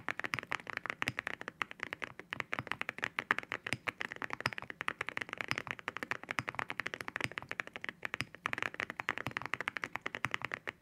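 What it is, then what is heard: Mechanical keyboard with ceramic keycaps. Fingertips type steadily on a white mechanical keyboard fitted with ceramic keycaps. The result is a rapid, continuous stream of sharp, bright clacks with almost no low end. Each keystroke dies away almost instantly, with a hard, glassy tone centered around 1.7 kHz.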